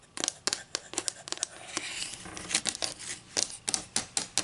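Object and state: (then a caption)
Wooden ruler tapped and scratched with fingernails. Long green acrylic nails tap and scratch along the edge and face of a solid, flat wooden ruler with inch and centimeter markings, held near a table. About sixteen sharp, bright clicks stand out, with a softer, steady scratching stretch in the middle. The sound is crisp and high with almost no low end and very little ring after each tap.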